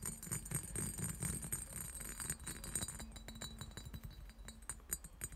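Fingertips and nails rapidly tap and scratch the textured body of a clear, hollow, empty cut-glass decanter with a diamond pattern. The taps come fast and unevenly, giving short, bright glassy clinks with a steady high ring over a low, dull rumble, and each hit dies away almost at once.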